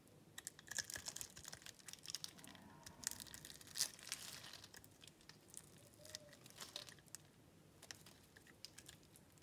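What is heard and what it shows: A metal utility-knife blade cuts and scrapes small cubes off the surface of a solid light-blue bar of soap held in the palm and scored in a grid. It makes a quiet, rapid series of crisp, bright clicks, scratches and crumbly crunches with very short decay and little low end.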